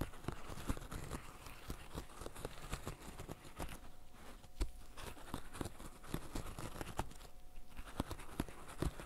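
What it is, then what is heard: Silicone pop-it fidget toy. Fingertips in fishnet gloves press the hollow bubbles of a flat green silicone pop-it fidget toy, making a steady run of short, soft pops. Each pop is a quick, dull low thump with a faint crinkly rustle, and the presses continue throughout.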